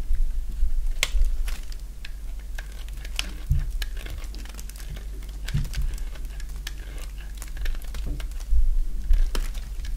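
A thin remaining slab of dry white bar soap, held in the hand, is cut and shaved with a box-cutter blade. Irregular short scraping and crackling cuts sound over a steady low hum, with sharp bright clicks scattered through.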